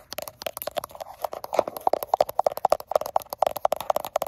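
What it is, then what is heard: Glass-backed smartphone. Long acrylic nails with black tips rapidly tap and scratch the frosted glass back of a gold iPhone with a steel frame, held in one hand in front of a mirror while the phone itself records. About 23 quick, irregular clicks sound close and dry, each with a short mid tone near 600 Hz and a bright click edge, alongside faint scratchy rasps between the taps.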